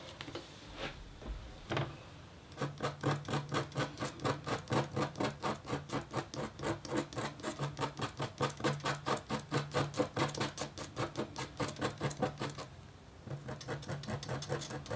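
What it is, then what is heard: Copper scratch art board being scratched. A metal-tipped stylus scratches a thin, solid, flat black-coated copper foil scratch art board. It makes quick, rhythmic rasping strokes with a bright scraping edge and a low hum underneath. After a sparse start, the strokes run steadily, pause briefly, then resume.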